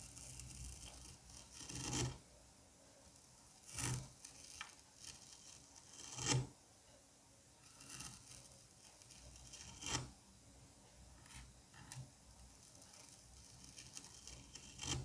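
A curette scrapes repeated grooves into a solid dome of green kinetic sand, peeling off strips of sand. Soft, bright, rasping scrapes rise and fade over a low rumble, with a few louder strokes standing out.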